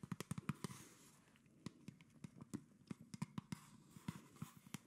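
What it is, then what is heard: Plastic soda bottle tapped. Fingertips and nails tap and scratch the body and red label of a hollow PET plastic Coca-Cola soda bottle with its cap on, held up near the face. The result is an irregular series of short, dry, hollow clicks with a low body, separated by soft, faint scratching over a quiet background.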